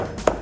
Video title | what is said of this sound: Gordon Harris- Different Types of Art Paper | You can hear that toughness when you flick the edge of it.